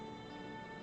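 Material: Nothing is struck.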